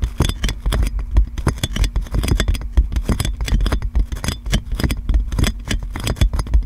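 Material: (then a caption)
Plastic film. Long nails scratch and tap clear plastic cling film wrapped around a metal microphone. A dense, continuous run of crinkling, scraping and sharp taps produces close, bright crackles over a heavy low rumble. Each tap dies away almost instantly.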